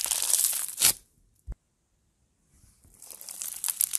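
A ball of blue foam bead slime (floam), a soft solid mass, is held, then squeezed and pinched with fingertips and thumbs. Dense, bright crunching and crackling fills the first second and ends in a louder burst. After a near-silent pause with one short pop, the crackling gradually builds again.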